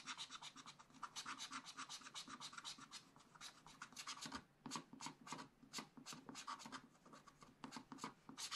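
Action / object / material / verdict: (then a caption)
scrape / wax-coated scratch art paper scraped with a wooden stylus / coated paper / none. A wooden stylus scratches dense hatching near the bottom of a black coated scratch art sheet in a small spiral pad. Quick, dry, raspy strokes follow one another in a steady rhythm, bright and hissy with almost no low end. There is a brief lull near the middle before the scratching picks up again with a few sharper strokes.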